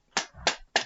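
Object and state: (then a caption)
Plastic toy lightsaber hilt, not metal. A plastic toy Skywalker lightsaber hilt is tapped against a hand three times, producing short, bright, hollow clicks with a quick decay and a low rumble between the first two taps. The light plastic taps show it is a toy rather than a metal replica hilt.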